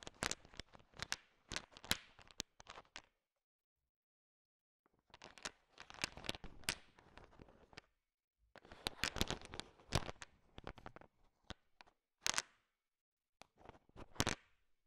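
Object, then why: Pile of sugar-coated chocolate candies stirred with a wooden stick. A large pile of small, solid, sugar-shell-coated chocolate M&M candies is stirred with a thin wooden stick. The candies make bursts of quick, bright clicks and rattles against each other, with short pauses between them.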